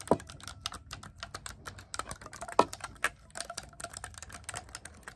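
Fingertips grip a black clarinet with silver metal keys, held upright, and rapidly press and tap the metal keys. The result is a fast, uneven stream of short, dry clicks, with a few louder snaps standing out, each dying away almost instantly.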